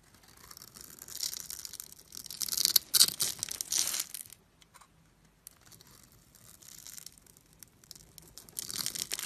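A blade carves thin slices and cubes off the scored surface of a solid orange bar of soap held in hand. Crisp, bright scraping and crackling cuts build to a louder burst of crunchy tearing in the middle, fall silent briefly, then return as softer scraping.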